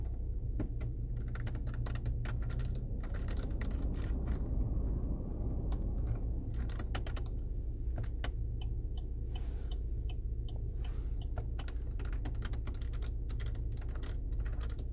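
Long red-painted nails tap and click the plastic buttons and knobs, trimmed in silver, on a solid plastic climate control panel fixed in a car's dashboard center console. Quick, irregular, bright clicks and taps come in a fast, uneven stream over a steady low rumble that stays constant throughout.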